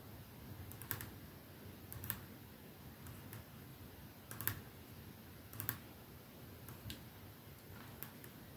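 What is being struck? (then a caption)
Glass perfume bottle. Fingernails slowly tap the clear glass end of a capsule-shaped glass perfume bottle with a silver band, resting on a dark surface. The quiet, sharp, bright clicks come at an unhurried, uneven pace, some in quick pairs, each dying away almost instantly over a soft low hum and steady hiss.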